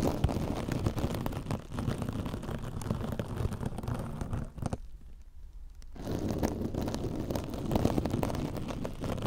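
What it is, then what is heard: Metallic scouring sponge scratched. A soft, compressible silver metallic-fibre mesh kitchen scrub sponge, held against the left ear of a microphone, is scratched with long orange nails. Dense, low crackling and rustling scrapes fill the clip, pausing briefly in the middle before resuming.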